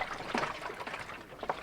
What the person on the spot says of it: It's very sloshy. It's not got anything in it. That's the upper tank you can hear sloshing around.